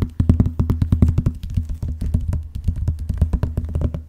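Fingernails scratch across the cover of a closed blue vinyl binder, then along its top edge. The result is a quick, steady run of short, dull scraping strokes with a low, boomy body and very little high end.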